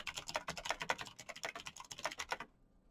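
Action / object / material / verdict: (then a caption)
tap / plastic mechanical keyboard / plastic / none. Fingertips in knitted fingerless gloves type fast on a black plastic Razer mechanical keyboard with backlit keycaps, clicky green switches and a hollow plastic body. A rapid run of sharp, bright clicks rattles out for about two and a half seconds, each keystroke dying away almost instantly. The typing then stops, leaving near silence.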